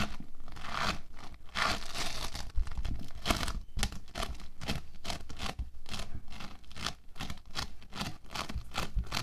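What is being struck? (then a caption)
Bead foam clay. Orange bead foam clay (playfoam) is squeezed in the fists, then spread flat and rubbed with the fingertips on a white table. The beads give a steady stream of dense, crunchy crackles and rapid scratchy bursts over a low rumble.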